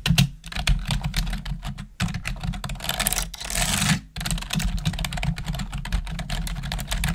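Long nails and fingertips type quickly on a black plastic desktop keyboard, making a dense run of sharp clacks over a low, thumpy body. Near the middle, a brief stretch of brighter, hissy clatter stands out before the steady rapid typing resumes and continues to the end.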